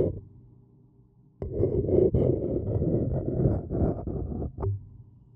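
A thin wooden stick scratches around the rim of a printed white paper cup that is hollow and appears empty. After a quiet start, a dry, papery rasping begins, rising and falling in short strokes with a low, hollow body. It ends on a brief tonal tap before fading out.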